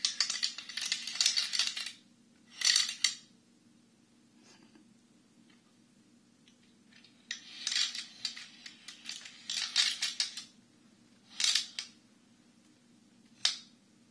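A Chinese abacus with a dark wooden frame and red wooden beads is held in both hands and tilted or shaken so the beads slide along the rods and click together. Bursts of bright, dry, high-pitched clattering come in short clusters separated by quiet pauses, each click dying away almost instantly over a faint steady hum.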